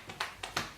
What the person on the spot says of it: can't really hear it shake that much ah there you go if you like really shake it really hard you can hear it